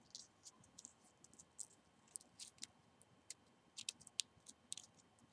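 A single long dried cinnamon stick, a rolled hollow quill of bark held between both hands, is tapped and scratched along its surface by medium-length painted fingernails. There are about 14 quiet, dry, bright clicks with uneven spacing. Each click stops at once with no ring, over a faint steady hiss.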